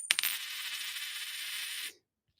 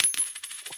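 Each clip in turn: First: clad copper-nickel dime, flat sound. Second: silver quarter, genuine silver ring.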